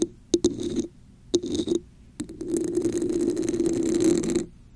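Long nails tap the top of a red, hollow, textured plastic cup turned upside down over a microphone, then scratch its patterned sides. Sharp, hollow taps alternate with short bursts of scratching, all carrying a muffled tone around 340 Hz. The clip ends in a long, steady, bright scraping across the ridged surface.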